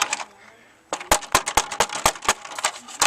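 A plastic car interior trim panel without a sound-deadening mat is knocked on, producing a rapid series of short, dry, hollow taps with a bright midrange tone around 850 Hz. Each knock dies away almost instantly, with a quiet gap near the start. The untreated panel sounds like plain hollow plastic, unlike a panel already fitted with deadening.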